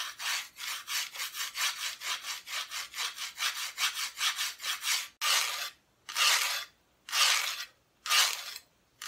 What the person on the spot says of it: it's just a little wooden decoration